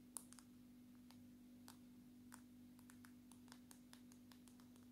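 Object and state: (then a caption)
Smartphone glass screen tapped with nails. Long natural nails tap on the glass screen of a dark smartphone turned face-up. A quiet, irregular series of sharp, bright clicks sounds over a steady low hum, each tap dying away almost instantly.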